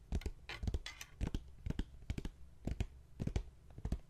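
Fingertips tap and scratch the front cover of a closed blue embossed leather journal, ending near its leather strap clasp. Soft, dull, low thumps come in an irregular rhythm, mixed with brief bright scratching swipes across the leather. Each tap dies away almost at once.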